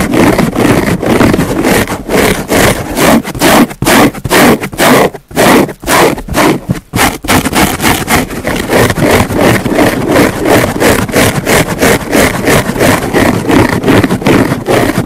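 A large green porous foam car sponge sits on a wooden table with a microphone on top and is scratched with the long nails of both hands. The result is a steady run of rapid, uneven scratching strokes, each a dry, broadband rasp with a bright hiss, with a couple of brief pauses in the middle.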